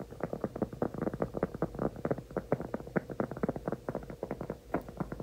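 A large, flat, solid round cork trivet is held upright in both hands and tapped and scratched with fingertips and nails. The result is a rapid run of soft, dull, hollow knocks with very short decay, mostly low-midrange with almost nothing above 2 kHz, over a faint low hum.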